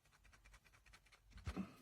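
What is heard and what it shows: A loose internal piece rattles inside the right plastic earpiece of a pair of JLab Rewind 2 Retro wireless Bluetooth headphones as the headphones are shaken while the earpiece is held still. A quiet, rapid series of soft plastic ticks and clicks is heard, ending in a slightly louder clatter. The piece is entirely loose, which is a fault.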